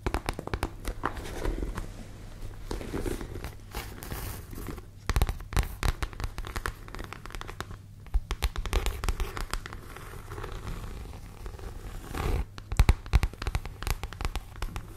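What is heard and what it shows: Long, light-painted nails scratch and tap the front panel of a medium, structured red handbag of grained leather or faux leather, held up close and hollow, apparently empty. Dense, crackly scratching and crinkling runs throughout over a steady low hum, with sharper, louder taps standing out around 5, 8 and 13 seconds.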